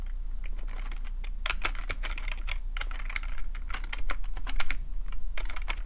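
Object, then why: Plastic computer keyboard. Fingertips type on the keys of a full-size black plastic computer keyboard with a hollow plastic body, producing a quick, irregular run of bright clicking taps over a steady low hum. The taps grow louder and denser toward the end.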